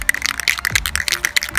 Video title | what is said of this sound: Painting a plastic bumper with Rust-Oleum Trim and Bumper Paint | Once you hear the ball rattle, shake it for about a minute.